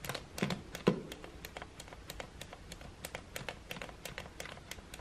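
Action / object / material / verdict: tap / plastic hair dryer switch / plastic / none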